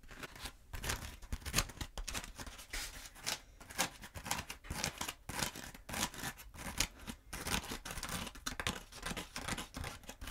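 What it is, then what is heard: Foam pool noodle. Long nails scratch and tap on a long, black, hollow foam pool noodle held upright with its end close to the mic. A quick, uneven stream of dry, bright scrapes and soft taps plays out, each one short with almost no ring, over a faint low rumble.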